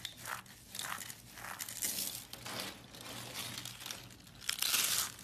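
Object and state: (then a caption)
Soap curls crushed by hand. Green striped soap curls are crushed between palms and fingers with long nails, breaking into small crumbly flakes. Dense, bright scratching and crunching crackles rise and fall in waves, with the loudest burst near the end.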